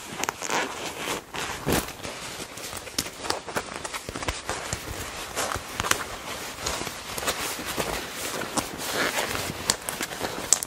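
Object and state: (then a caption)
Leather jacket being squeezed and rubbed. Hands squeeze the rolled sleeve of a black leather jacket, likely faux, then rub and grip its front panel with fingertips and nails. The result is a steady stream of bright, crinkly creaks and dry rustles with short squeaky spikes and very little low end.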